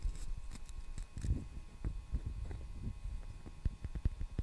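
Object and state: Wooden hairbrush.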